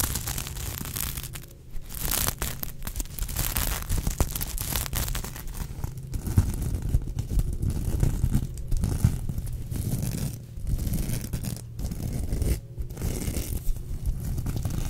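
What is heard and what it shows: Long nails scratch and flip the sequins on a sequin-covered unicorn plush held close. A dense, continuous scratchy rustle with crisp crinkly flicks runs throughout, heavy in low rumble, with brief quieter gaps between strokes.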